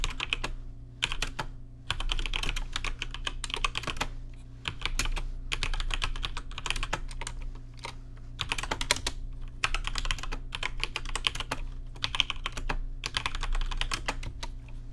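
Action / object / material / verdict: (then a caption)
tap / mechanical keyboard with plastic keycaps / plastic / none. Fingertips type in bursts on a rainbow-lit plastic RGB mechanical keyboard with plastic keycaps, producing rapid, bright, crisp clicks that stop and start every second or so. A steady low hum runs underneath throughout.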